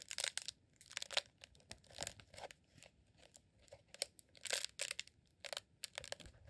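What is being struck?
Rolled beeswax sheet candle.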